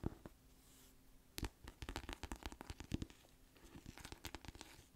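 A small paperback novel, "Little Fires Everywhere," with a glossy paper cover is held in both hands and tapped and scratched with long nails on its cover and spine. Quick, dry clicks and light scraping sounds come in uneven bursts, with a soft low rumble underneath.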